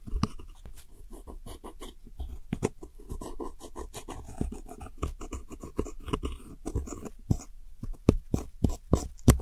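A metal hook tool digs into and scrapes the brown pressed powder wedges of an eyeshadow set in a round plastic palette. Dense, dry scratching and crumbly gritty scraping fill the clip, punctuated by sharp clicking taps that grow louder and more spaced out toward the end.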